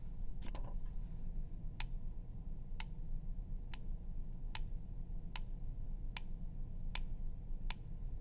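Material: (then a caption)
Silver. A genuine 1 oz silver Maple Leaf bullion coin is tapped repeatedly with a pen in a ping test, over a steady low background hum. After a couple of dull taps, each strike gives a bright, high-pitched ring that hangs on briefly. The coin is real: its ring lasts much longer and sounds higher than a fake coin's.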